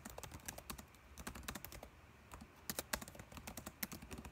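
Fingertips of both hands type on a dark laptop keyboard with plastic keys. A rapid run of short, crisp clicks with bright tops and a faint low thump ends quickly, easing into a brief quieter stretch near the middle before picking back up with a few sharper taps.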